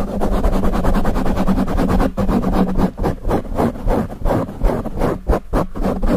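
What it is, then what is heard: Foam microphone windscreen being scratched. Fingertips and nails of both hands rapidly scratch and rub a dark grey foam windscreen on a microphone. The result is a dense, muffled, bass-heavy rustling and thumping with fast, uneven strokes and a low hum underneath, lacking any bright top end.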